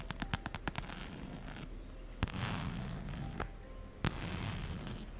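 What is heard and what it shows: A plaid fabric and brown faux-leather wallet is held in one hand close to the mic while long nails scratch and tap its surface and strap. A quick run of sharp, dry taps opens the clip, followed by a few louder isolated clicks over a steady, soft scratching rustle.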